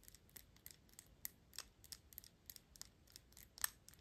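Long acrylic nails scratch and tap the gold metal horsebit cap of a Gucci perfume bottle, with fingers partly covering it. The result is a quiet, rapid run of bright, dry clicks and ticks, high-pitched and crisp, each dying away at once with no ring.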